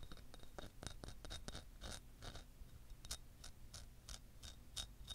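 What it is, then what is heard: Selenite crystal wand. A long, solid, white translucent selenite crystal wand about the length of a hand is held in one hand, wearing metal rings, and tapped and scratched with long nails. It makes a quick run of quiet, dry, clicky taps and brief scratchy bursts with a bright, high edge. Each sound dies away almost instantly over a soft low rumble.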